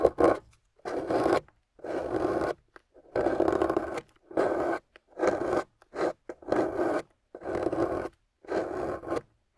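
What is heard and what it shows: A metal loop tool on a wooden handle carves a solid, water-soaked, gold-painted clay bar resting on a table. Each scraping pass makes a soft, gritty, rasping scratch centered in the midrange. The strokes come in uneven bursts, separated by short silences.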